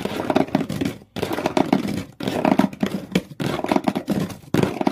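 Long fingernails on both hands scratch hard at the inside of an open, empty shoe box, raking its blue outer walls and corrugated-textured brown cardboard floor. The result is dense bursts of rapid, dull, hollow scraping and tapping, centered in the low-mid range. The bursts are separated by brief silent pauses.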